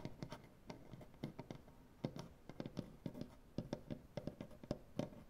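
Dark painted fingernails on both hands tap and scratch across a large, solid wooden butcher-block tabletop. Quiet, dull knocks with body around 240 Hz come in an uneven, rapid pattern, mixed with soft scratchy rasps. Each tap stops almost instantly, with no ring and little brightness.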